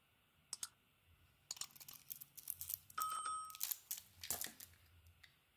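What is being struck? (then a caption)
Bar of soap. A palm-sized solid purple bar of soap with a silver heart pattern is held in one hand while a metal craft blade shaves and carves off white soap curls. The blade makes a series of irregular, crisp scraping and crackling strokes with a bright, papery texture, and a brief thin steady tone sounds midway through one longer stroke.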